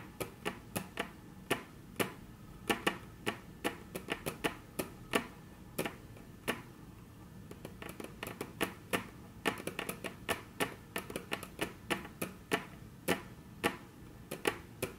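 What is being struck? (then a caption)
Wooden tabletop. Very long natural nails tap on a flat, solid, dark brown wood-grain tabletop, making about 46 sharp, dry clicks with a bright, high edge that stop almost instantly. The taps come in an uneven rhythm, sometimes in quick clusters and sometimes spaced out, over a low, quiet background.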